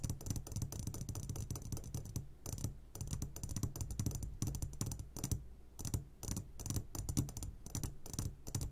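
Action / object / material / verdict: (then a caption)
tap / glass jar filled with hard candies / glass / none. Fingertips tap rapidly and continuously on the sides of an upside-down clear glass jar full of hard candies. The result is a dense stream of short, dry clicks that fade almost instantly over a low, full thump, with brief pauses between bursts.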